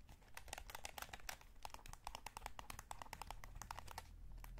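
A hollow, light blue plastic PS5 DualSense gamepad is held in both hands while thumbs scratch and rub the analog sticks and fingertips tap the shell. The result is a rapid, uneven run of short, dry plastic ticks and clicks with a hollow tone around 760 Hz, over a faint low rumble and soft scratchy rubbing between taps.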